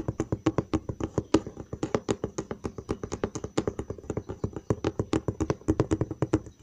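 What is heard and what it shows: Fingertips and short nails tap rapidly on the side panel of a large, hollow brown cardboard box, about 48 quick taps in a steady run over under seven seconds. Each tap is a short, dull, hollow thump with a lower-mid body, a light papery click, and almost no ring.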